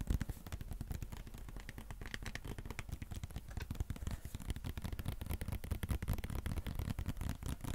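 A white plastic squeeze sports water bottle with an orange cap, held in both hands, is tapped and scratched with fingernails close to the mic. The result is a dense, steady run of quick, dull, low-pitched taps mixed with scratchy clicks for about eight seconds.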